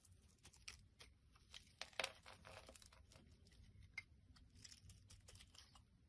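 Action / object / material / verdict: scrape / bar of soap / soap / none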